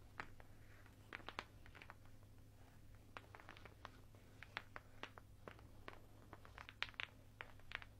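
A strand of large, solid, unfinished light wooden beads on a garland is held up in both hands while the beads are rubbed and clacked together and the strand is shaken with the fingers. Quiet, dry, bright clicks and short clacks come in scattered bursts over a steady low hum, each dying away almost instantly.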